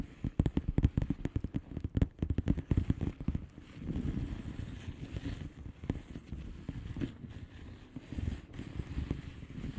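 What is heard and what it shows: Long painted nails on both hands tap a flat blue plastic bubble wrap envelope with air-filled bubbles. Quick bursts of soft, dull, low-pitched taps come first, then a quieter stretch of muffled rustling and scratching across the plastic, then more scattered tapping. The sound stays soft and padded, with no bright ring.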